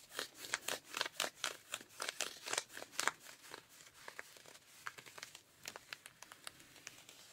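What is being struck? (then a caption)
Denim jeans scratched with rubber-gloved fingertips. Pink rubber-gloved fingertips scratch and rub worn, ripped blue denim jeans, working over the thin fabric of the thigh and around the knee and thigh rips. Quick, bright, dry scratching strokes come in dense, loud bursts for the first few seconds, then turn quieter and sparser with short, crisp scrapes.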